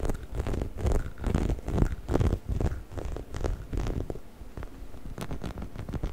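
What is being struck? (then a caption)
Hollow rubber chicken toy. A hollow yellow rubber chicken toy is held near the microphone as fingertips scratch and rub along its body and head, with occasional squeezes. Low, dry scratching and rubbing patter comes in quick, uneven bursts with soft, muffled rumbles and brief bright scrapes.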